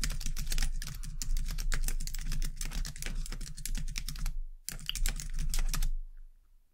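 Two hands with long dark-painted nails type continuously on a white low-profile plastic computer keyboard, producing a rapid stream of crisp, bright clicking keystrokes over a steady low hum. The typing breaks off briefly just before the five-second mark, resumes, then stops near the end, leaving only the faint hum.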